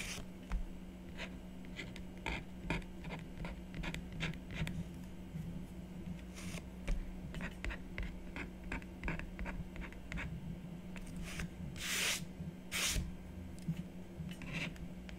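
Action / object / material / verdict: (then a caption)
scrape / black-coated scratch art card on a wooden table / coated card / none. A stylus scratches continuously across a black-coated scratch art board lying solid and flat on a wooden table. Quick, dry, bright scratching strokes repeat throughout, with two longer, louder hissing strokes near the end. A steady low hum sits underneath.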